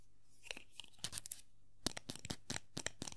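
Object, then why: Small hollow vinyl figure. A small hollow vinyl Funko Pop figure of Tuxedo Mask is held and turned in the hand while long nails scratch across its hat and body. Short, dry, bright scraping bursts come in quick clusters over a faint low hum, each cut off sharply with no ring.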